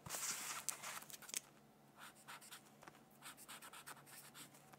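A black-barrel brush-tip pen colors a thin paper coloring sheet resting on a hardcover textbook in scratchy strokes. A loud, bright, dense scratching burst with a few sharp ticks opens the clip, then settles into softer, evenly spaced hissing strokes that repeat at a steady pace.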